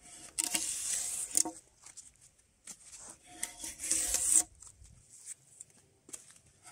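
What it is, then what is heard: Spruce log being stripped of bark. Gloved hands pull a metal draw knife along a long, solid spruce softwood log that is partly debarked with pale wood showing, scraping off strips of bark. Two long, bright, rasping strokes stand out, separated and followed by quieter short scrapes and crackles, all high-pitched with almost no low end.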